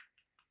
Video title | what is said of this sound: Paint on Resin? YES, YOU CAN!- I Test Which Ones Work Best & Find Cheaper Alternatives to Outliners | you can hear the paint moving in there chances are it's too you know it's too liquefied